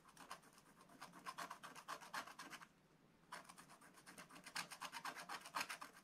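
A wooden stylus held in the fingers rubs and scratches the coating away from a black-coated scratch-art paper page. It makes quick, dry, bright rasping strokes at about four per second, pausing briefly midway before the scratching resumes.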